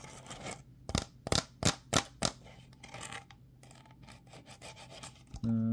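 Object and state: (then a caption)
Plastic bottle with screw cap, scratched. A hollow, empty clear plastic bottle with a ridged white plastic screw cap is held in both hands while fingertips and nails rub and scratch the cap and bottle. Quiet dry rubbing gives way to a run of about five sharper, bright scratching strokes, then softer irregular scraping. The clip ends with a sudden steady low humming tone.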